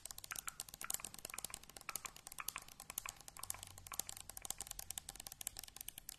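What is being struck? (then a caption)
Metal aerosol can. Long painted acrylic nails tap quickly on the body of a hand-sized, hollow, pressurized cylindrical metal aerosol shaving foam can (blue, white and red label, white plastic cap) held in both hands near the mic. The result is a fast, continuous stream of crisp, bright clicks, each dying away almost instantly, with little low-end weight at a soft overall level.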